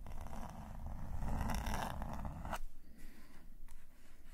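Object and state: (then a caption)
Pen nib scratching on sketchbook paper. A metal calligraphy nib scratches across the page of an open black paper sketchbook while drawing green ink details. Dense, rough scratching strokes with a low rumble build through the first two and a half seconds, ending in a sharp stroke. Softer, sparser scratches follow.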